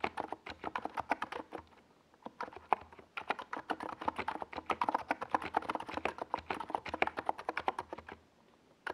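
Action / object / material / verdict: tap / plastic mechanical keyboard / plastic / none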